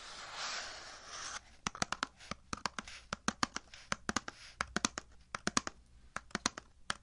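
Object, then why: Cardboard box. Fingertips and nails scratch and tap the surface of a hollow, medium, kraft-colored cardboard box held on a table. About a second and a half of continuous, bright, rustling scratching gives way to a rapid, irregular series of short, dry, clicking taps that stop almost instantly.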